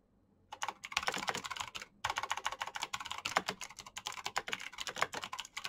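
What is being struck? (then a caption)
Mechanical keyboard with plastic keycaps. Rapid fingertip typing on a black Razer mechanical keyboard with plastic keycaps and clicky switches. After a half-second of quiet, a fast stream of sharp, bright clicks runs continuously, with a brief pause around the two-second mark before the typing resumes.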